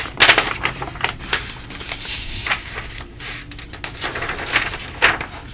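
Fingertips rub and flatten a page of a thin paper coupon mailer booklet lying open, then turn the page over. Crisp, bright paper rustles and crackles come in quick bursts over a soft, steady hiss.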